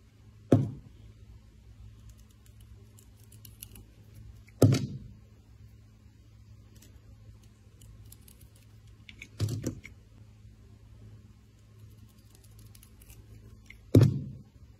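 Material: Soap.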